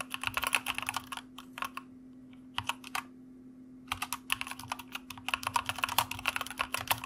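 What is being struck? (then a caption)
Mechanical keyboard with plastic keycaps. Fingertips of both hands type on a white mechanical computer keyboard with plastic keycaps, producing rapid, bright, clacky keystrokes in bursts separated by short pauses. A faint, steady low hum runs underneath throughout.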